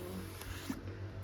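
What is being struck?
Nothing is struck.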